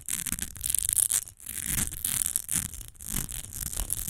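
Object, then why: Glass perfume bottle. Long nails rapidly scratch and tap the front and edges of an upright, partly filled rectangular glass perfume bottle with a textured surface. The result is a dense, bright, hissy scratching with quick, short taps and soft low thumps underneath, broken by a couple of brief pauses.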